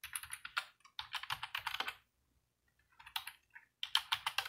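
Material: Plastic.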